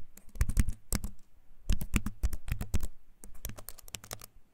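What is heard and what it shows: Fingertips type on a compact keyboard with a wooden frame and clicky plastic keys, held up close to the microphone. Rapid bursts of short, dry key clicks come with a deep low thump beneath each press and a bright crisp edge. Brief pauses separate the typing runs.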